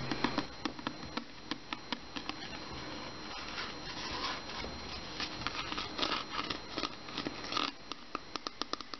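Fingernails scratch and tap the sides and label of a mostly empty clear plastic water bottle with a green cap, held in both hands. Many sharp, bright clicks and taps stand out over a soft, continuous scratching and rubbing, with a faint steady high tone underneath. The scratching swells in the middle before the quick tapping returns.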